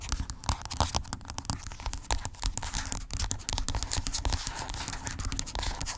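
Long acrylic nails scratch and tap rapidly across the surface of a hollow white plastic skincare tube lying flat. The sound is a dense, continuous stream of crisp, bright clicks and scratchy rasps over a soft, hollow low-end thud, steady throughout and growing slightly louder midway.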